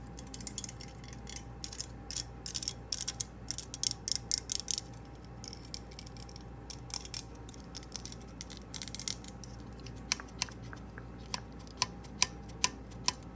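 Long nails scratch and tap the toothed jaws of a hand-sized purple plastic claw hair clip and click its spring mechanism. Dense bursts of bright, dry scratching and clicking in the first five seconds give way to sparser, sharp individual ticks. A faint, steady low hum runs underneath throughout.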